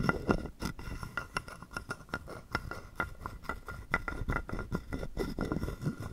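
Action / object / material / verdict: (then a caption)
scrape / carved wooden frog guiro played with a wooden stick / wood / none. A wooden stick scrapes and taps along the ridges of a hollow carved wooden frog guiro held in the palm. It makes a quick, uneven run of short, dry wooden clicks and rasps. A faint hollow tone sits near 1.4 kHz, and each click dies away almost at once.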